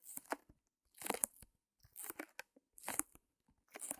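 Long nails scratch and tap a small white canvas wrapped in clear plastic, resting on a fur rug. Quiet bursts of crinkly, bright scratching alternate with sharp little taps, separated by short silences, with almost no low end.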